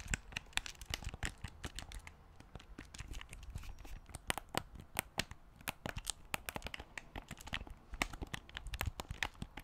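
A black plastic Wii U gamepad with a glass-covered screen, held in both hands, is tapped on its shell and has its buttons pressed. The result is a rapid, uneven stream of short, dry clicks and crisp ticks that stop almost instantly, over a faint, low rustle.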